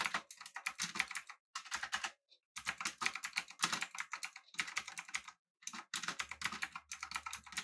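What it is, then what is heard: Mechanical keyboard with round plastic keycaps. A full-size backlit typewriter-style mechanical keyboard with an aluminum body and round plastic keycaps is typed on with the fingertips of both hands. Rapid, bright, clicky keystrokes come in bursts separated by brief pauses, each click short and dry with almost no ring. A faint low hum sits under the typing near the end.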